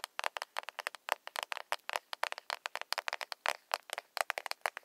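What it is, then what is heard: Plastic cosmetic compact. A small, closed, hollow pink plastic cushion foundation compact is tapped with long nails on its glossy shell. About thirty quick, dry, clicky taps come in an irregular rapid patter, focused in the midrange with bright tops and no low end. Each tap stops almost instantly with no ring.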